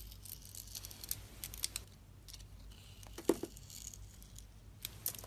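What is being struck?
Soap bar.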